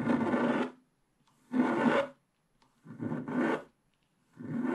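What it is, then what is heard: Scratch-art card being scraped. A wooden stylus scrapes the remaining black wax coating off the sky area on the right of a flat scratch-art card, where the black coating covers a colored base. Four rough, raspy scratching strokes are heard, separated by short silences, with the last stroke cut off at the end.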